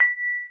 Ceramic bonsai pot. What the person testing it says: o som de sino porque ele foi queimada em alta